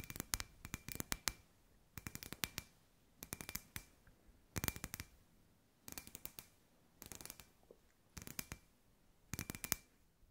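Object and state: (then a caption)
Glass ball lamp. Long white nails tap a hand-sized, hollow, clear glass ball lamp with fairy lights inside. The taps come in eight quick, bright, clicky bursts with very little ring, and a faint glassy tone lingers briefly after some of them. Quiet pauses separate the bursts.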